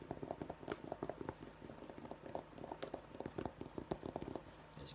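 A navy Dallas fabric baseball cap with an embroidered skyline is held in both hands while fingertips and nails scratch and tap its structured fabric crown. The result is a quiet, rapid series of short, dry taps with a soft low-mid thud, mixed with light scratching.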